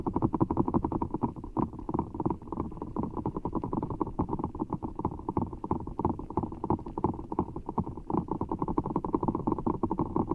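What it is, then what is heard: Giant water gel bead ball being squeezed. Fingertips squeeze a giant orbeez ball, a large, full, soft ball of blue water gel beads in a clear rubber skin held over the mic. A steady stream of rapid, muffled squishes and soft wet clicks runs for the whole clip, with deep rumbling underneath. The sound stays dull and low throughout, with almost no high or bright content.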